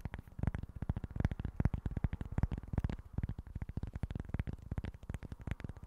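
Fingertips and nails tap and scratch the surface of a small, flat cork board in a rapid, uneven stream of short, dull taps. The taps are soft and low-pitched, with almost no high-end brightness, and each one dies away almost instantly.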